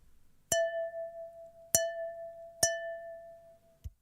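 A cup filled with water is tapped three times, each tap giving a bright, chime-like clink that rings at about 660 Hz. The tone fades slowly after each tap, and a faint dull knock follows at the end.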